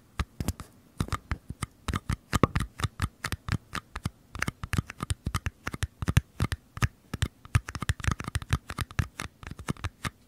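Fingernails tap and scratch the curved walls of two identical small, empty paper cups held sideways near a microphone. A rapid, uneven series of short, dry taps with soft scratching runs throughout, mostly low and hollow with brief bright clicks, each hit dying away almost instantly.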